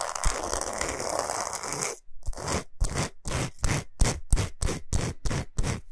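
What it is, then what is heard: Himalayan salt block. Long pointed nails scratch and tap across the surface of a large, flat, solid pink Himalayan salt block. A continuous gritty, bright scrape runs for about two seconds, then after a brief pause gives way to a series of short, separate rasping strokes that come faster and faster.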